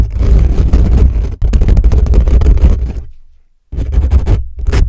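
Fingertips and nails of both hands quickly scratch and tap the hollow dome-shaped metal mesh grille of a black USB condenser microphone on a stand. Heavy low rumble with dense rapid scraping and clicks fills the clip in bursts, broken by a brief dip near 1.4 seconds and a fade to near silence before a final burst of scratching.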